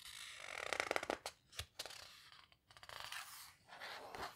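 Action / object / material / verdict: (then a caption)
scrape / thick paper book pages / paper / none. Flat hands with long red nails rub and squeeze the thick paper pages of a large open houseboat photo book, and a page is turned between squeezes. Soft, bright papery scraping and crinkling comes in bursts, with quick crisp flicks and almost no low end, at a quiet level.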